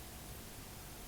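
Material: Nothing is struck.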